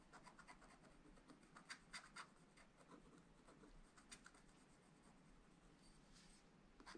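A wooden stylus scratches hatching strokes into the green tower on a black, wax-coated scratch art sheet in a flat spiral pad. Quiet, dry, rapid scratchy strokes run throughout, with a few sharper, brighter scrapes standing out near the two-second mark, around four seconds and at the very end.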